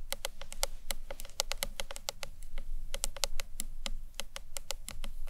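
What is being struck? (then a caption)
Acrylic box clutch. Long nails tap quickly across the front face and ends of a hollow green marbled acrylic box clutch, about thirty separate taps in an uneven rhythm. Each tap is a short, sharp, bright click that dies away almost instantly, over a faint low hum.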